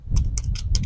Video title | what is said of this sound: How to Save Bean Seeds - Turn $2 into Lifetime Supply | we are looking for pods that are dry and if you shake them you can hear the beans rattling around on the inside